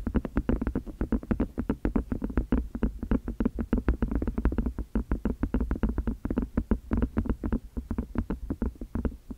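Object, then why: Small silicone food container. Fingers and long nails rapidly tap, squeeze and rub the flexible sides of a small, hollow, empty white silicone food container held in both hands close to the microphone. The result is a steady, fast stream of soft, dull, low thumps with a faint hollow resonance. Each tap dies away almost instantly, leaving very little bright content.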